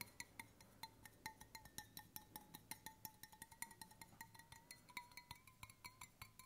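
Fingertips tap the flat bottom end and the side of a hollow stainless steel water bottle held at an angle, in a steady, rapid series of light taps. Each tap gives a short, bright metallic clink with a ringing tone near 920 Hz and high overtones, dying away almost at once.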